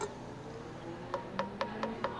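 During trimming, a finger flicks the bottom of a clay pot five times to check its thickness, producing short, dull, clunky taps with a mid-pitched knock over a faint steady hum. The clunky sound means the bottom is still thick, with quite a bit of clay left, so it is safe to keep carving.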